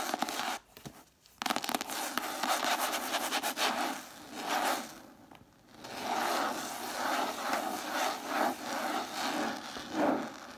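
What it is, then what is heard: Cloth-bound hardcover book. Long matte dark nails scratch and tap the cover of a single red cloth-covered hardcover book with a solid paper block inside, standing upright on a wooden table. Dry, rasping scratches and rubs with quick taps run almost continuously, with brief pauses near one and five seconds. The sound sits in the mids with a bright, airy texture and no low end.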